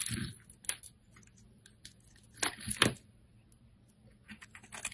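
A metal blade scrapes along a hand-held solid green soap bar, shaving off strips. Short, crisp, bright scraping and crumbly shaving bursts come in irregular strokes, with quiet pauses between them and a faint low hum underneath.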